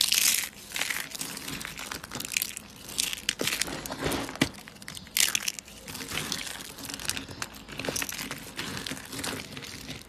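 Fingers squeeze, crush and rub handfuls of thin, dry, light-blue soap flakes piled in a yellow tray. The result is a continuous bright, crinkly crunching full of tiny sharp cracks, with louder crushing bursts at the start and around the midpoint.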